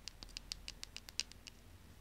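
A small, slim pink plastic lip gloss tube held in the fingers is scratched and tapped along its length with long painted nails. The result is eleven quiet, crisp, high-pitched clicks with almost no ring, spaced evenly over two seconds with soft scratchy patter between them.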